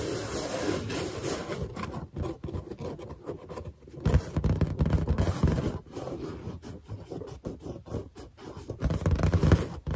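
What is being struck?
Inflated latex balloon.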